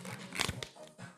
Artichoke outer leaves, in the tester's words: Senti come scrocchia. Vai, è scrocchierello.